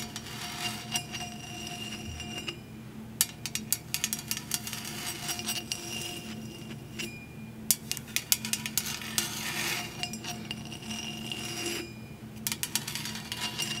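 A large, hollow, cream powder-coated stainless steel tumbler with a handle and straw is held and tapped with long nails. The clip is full of quick, bright metallic clicks and clinks over a steady low hum, with brief pauses between bursts of tapping.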